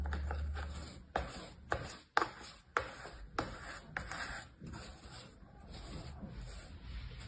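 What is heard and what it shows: A small orange plastic cutting tool held in the fingers scrapes and cuts lines through compacted, solid brown kinetic sand in a shallow mint-green plastic tray. The result is a series of soft, gritty crunching cuts with short dry scraping between them, fading into a quieter continuous rubbing toward the end.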